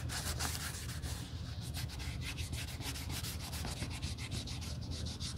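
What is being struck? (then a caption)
Leather handbag. A gloved hand rubs the surface of a red quilted leather Gucci Marmont shoulder bag, with brass eyelets, a GG logo and its flap open, lying on a white table, using a cotton pad held in tweezers during a color change. The result is a steady, continuous scrubbing sound with quick bright strokes over a low rumble.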